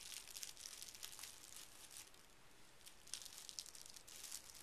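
Folded pink tissue paper resting on carpet is creased and smoothed with fingertips and a flat palm. The result is a soft, continuous, bright crinkling rub with occasional sharper crackles, and little low end.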